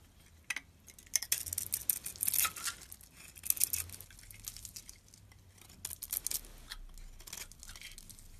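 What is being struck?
Bar of soap scraped with a metal blade.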